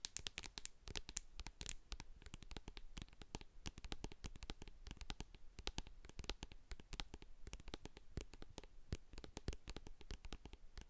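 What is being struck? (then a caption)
Plastic cosmetic jar with metal lid. Long acrylic nails tap and scratch the sides and label of a medium hand-held plastic jar of hair co-wash, which has a silver metal lid and is full of white cream. Dense, rapid clicks and sharp taps with a dull low body and bright edges run continuously throughout, mixed with soft scratching.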